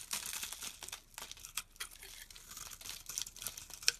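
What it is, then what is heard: Olive soap bar being shaved. A dense, dry, olive-green stamped soap block held in the hand is shaved with a knife blade, leaving ridged chips. The scraping comes as a run of quick, dry, crinkly rasps, almost entirely high and bright with very little low end. A single sharper scrape stands out near the end.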